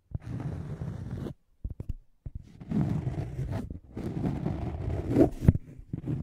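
Fingernails scratch and tap a thin, solid, round scalloped cork coaster held in front of the microphone. Dry, low-heavy scratching comes in long rough stretches, broken by short pauses and a few quick soft taps, with a couple of sharper ticks near the end.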